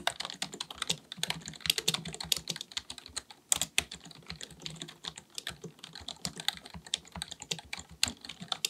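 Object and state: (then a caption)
Plastic computer keyboard being typed on. Fingertips of both hands type rapidly on a black full-size plastic computer keyboard resting on a desk. The result is a steady stream of quick, bright, dry key clicks with almost no low end or ring. Occasional louder taps stand out from the rest.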